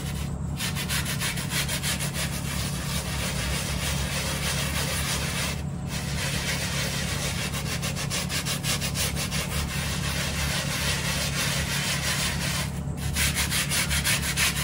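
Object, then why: Plush microfiber bath mat. A small hand-held brush is scrubbed back and forth across the pile of a thin, soft, rectangular brown plush microfiber bath mat lying dry on a tile floor. The clip is a steady, rapid scratchy rubbing with bright, airy bristle noise over a constant low hum, and the scrubbing pauses briefly twice.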